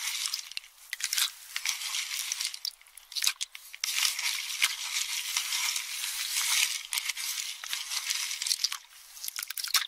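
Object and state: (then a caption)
Empty pistachio shells in a metal bowl. A metal spoon stirs and crushes empty pistachio shells in a small metal bowl held in one hand. The result is dense, continuous crunching and scraping, almost entirely bright and high with nothing in the low end, rising and falling in loudness throughout.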